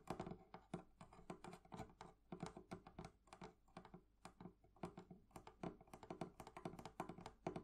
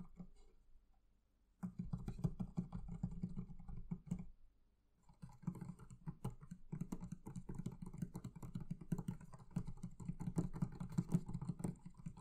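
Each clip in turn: First: metal fittings on a wooden chest. Second: leather covering on a barrel chest.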